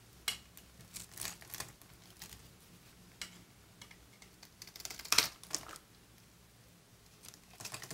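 A utility knife blade shaves curled strips off a dry, solid, palm-sized oval white bar of soap held in the palm. Twelve quiet, bright, dry scraping cuts come in irregular bursts, each with almost no ring, over a faint low hum. The loudest stroke falls near the five-second mark.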